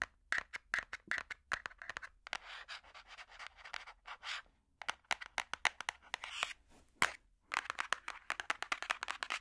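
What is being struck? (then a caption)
Hardcover book with cardboard cover. A large, solid hardcover puzzle book with a cardboard cover is tapped and scratched with metal finger picks. Quick, dry clicking taps alternate with stretches of rough, bright scratching across the cover. The sound is crisp and mid-to-high pitched with no low-end body, and each tap dies away almost instantly.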